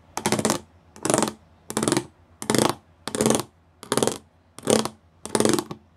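Fingertips and nails tap and scratch across a flat grey plastic sheet covered in rows of small raised square pyramid studs. Eight short, evenly spaced bursts of dense, bright rattling clicks come with quiet pauses between them, and each burst stops almost at once.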